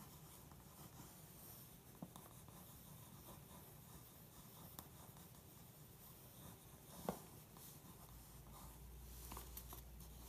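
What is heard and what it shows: A pencil tip traces across the page of an open glossy paper magazine lying on carpet, making quiet, steady scratching strokes with a soft, bright paper texture over a low rumble. Four brief, sharper ticks stand out from the continuous scratching before it grows slightly louder toward the end.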